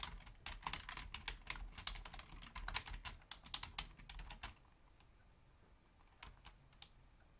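Long fingernails and fingertips of both hands type rapidly on a full-size black plastic Logitech membrane keyboard with a hollow housing. Bright, clicky key taps come in a dense, uneven stream for about four and a half seconds over a low thudding body. After a near-silent pause, a few scattered taps follow.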